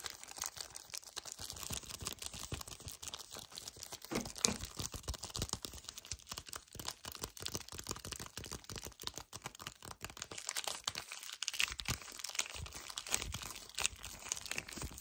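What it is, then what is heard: Cardboard chocolate bar box. Both hands squeeze and grip a full, flat yellow cardboard chocolate bar box, with nails scratching across its surface. A dense, continuous stream of quiet, bright crinkles, crunches and scratchy ticks runs through the whole clip with little low end, each tick dying away almost instantly.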